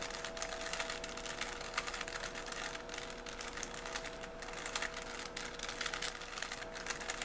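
A small solid 3x3 plastic Rubik's cube with colored stickers is held in both hands while fingertips twist its layers. The plastic faces slide and click against each other in a rapid, continuous stream of light, bright clicks and scrapes. Faint steady tones hum underneath.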